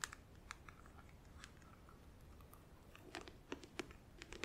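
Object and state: Clear plastic nail organizer box.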